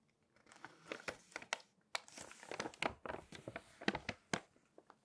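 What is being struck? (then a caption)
Glossy paper magazine pages. Long acrylic nails tap and scratch the pages of an open glossy paper magazine and turn them, giving a run of soft crinkling and crisp tapping bursts. The clicks are sharp and short with bright edges over quiet gaps.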